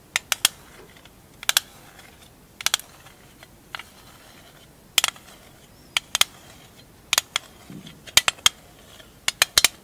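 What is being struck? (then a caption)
Small thin metal tin with lid. A small, hollow printed metal tin with a lid, labelled "160 Marbles", is held in the hands and tapped and scratched with long acrylic nails. Sharp, bright clicks come in quick pairs and clusters, about nineteen in all, each dying away almost at once over a quiet background.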